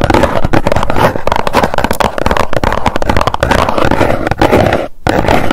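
Long nails rapidly tap the face of a small, hollow white cardboard box held in both hands. The result is a dense stream of quick, dull, hollow taps, mostly low in tone and little bright edge, with a brief pause just before the five-second mark before the tapping resumes.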